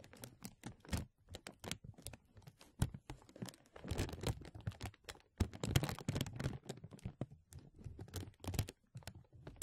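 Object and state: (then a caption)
Thin plastic film sheet. A thin translucent plastic film sheet, draped over a microphone and held by the fingertips at both sides, is tugged and rubbed so it crinkles. Many quick, sharp crackles and pops come one after another, with a soft low thump under each and bright crisp edges on top. The crinkling thickens into denser, rustling bursts around the middle and again a little later.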